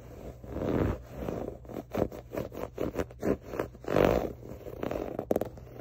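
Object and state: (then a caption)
Waffle-textured fabric pillow. Fingertips and short nails scratch across a soft, stuffed grey pillow with a diamond waffle-weave fabric cover. The result is a series of dry, rasping scrape bursts centered in the midrange: a few longer, swelling strokes mixed with quick, choppy scratches. A faint, steady high tone sits in the background throughout.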